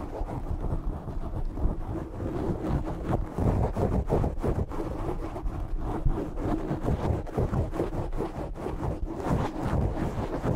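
Fingertips scratch the top of a black foam windscreen on a desk microphone. The result is a continuous, muffled, rumbling roar, heavy in the low end with almost no high content, pulsing with uneven scratchy bursts throughout.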